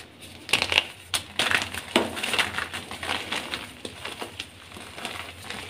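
Soft sky-blue dyed gym chalk (magnesium carbonate) blocks and crumbs are crushed and crumbled between bare fingers and palms on a pile of blue powder, with pink blocks untouched at the side. Dry, bright crunches and crumbly crackles come in a quick run of sharp snaps, easing into softer gritty rubbing.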